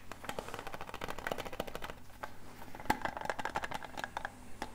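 A small, flat, rectangular hollow metal tin with a grey lid and silver edges is held in both hands close to the microphone and tapped rapidly with fingertips and nails. The result is a dense, uneven patter of quick, light clicks, some with a short metallic ping, over a steady low hum.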